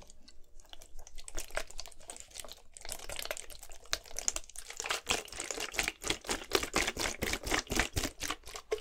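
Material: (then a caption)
Plastic. A clear plastic Gatorade bottle, partly filled with blue liquid, is held in one hand and shaken and tilted back and forth. It makes quick, bright crinkling and sloshing taps that build into a steady, rapid rhythm of short bursts through the second half.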